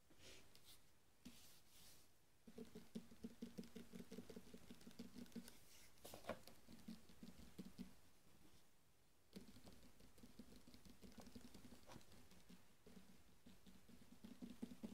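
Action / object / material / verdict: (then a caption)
tap / rolled tube of foil wrapping paper / foil paper / none. Fingertips tap and scratch along a long, hollow rolled tube of gold foil Christmas wrapping paper held horizontally in both hands. Soft, rapid pattering and dry scratching carry a low, hollow resonance. It pauses briefly near the middle, then resumes at a steady, quiet level.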